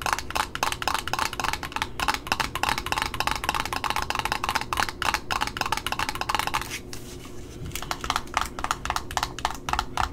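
Long nails tap rapidly on the top of a red Simplicity satin ribbon spool, making bright, dry clicks with a steady low hum underneath. Around the seven-second mark the tapping briefly gives way to a softer scratch on the paper price label on the spool's cardboard end disc. Then quick taps on the label resume.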